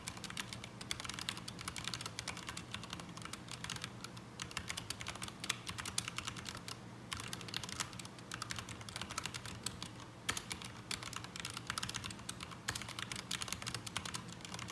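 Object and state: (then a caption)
Mechanical keyboard with ABS plastic keycaps. Both hands type with their fingertips on a black mechanical keyboard with ABS plastic keycaps resting on a desk mat. The result is a fast, continuous stream of sharp, bright clicks and clacks over a low, steady hum.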